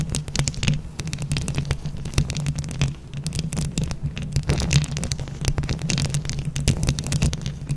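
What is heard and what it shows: Long nails quickly scratch and tap a microphone grille covered in plastic flower rhinestones. The result is a dense stream of rapid clicks and scrapes over a deep, boomy low rumble with a faint steady hum.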